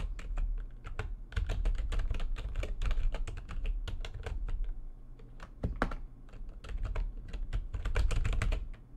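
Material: Plastic.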